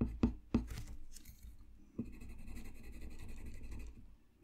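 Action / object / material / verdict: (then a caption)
scrape / colored pencil on paper sheet / paper / none. A blue colored pencil makes slow scratching strokes on a thin, solid sheet of flat white drawing paper lying on a desk. Three sharp taps stand out early on, followed by a steady, soft, low scratching that fades out at the end.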